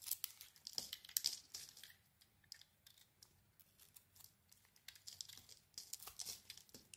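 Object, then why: Soap bar shaved with a metal blade. A metal blade peels shavings off a palm-sized, solid red-and-black patterned bar of soap with a pink interior, held in the hand. The sound is a quiet run of crisp, bright scraping and crinkly shaving strokes, with almost no low end and very short decays between cuts.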